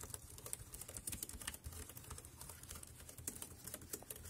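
Fingertips type on the keys of a dark grey, compact, plastic wireless keyboard resting on a plastic sheet. A quick, steady run of crisp clicks with bright, sharp key transients sits over a low rumble, each click dying away almost at once.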